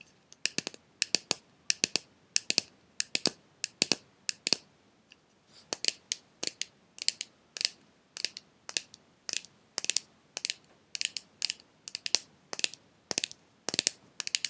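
A small clear glass jar with a silver metal lid, partly filled with red pieces, is held upright in the hands and tapped on the glass with fingernails and fingertips. Quick clusters of crisp, bright clicks repeat steadily, with a brief pause about a third of the way in. Each tap is dry and stops almost instantly, with no low end.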